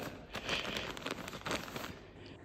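A bed mattress in a rented apartment is pressed, and the plastic cover lying under the bed sheet crinkles and crackles loudly. A steady run of bright rustling and snapping rises and falls for about two seconds, then fades.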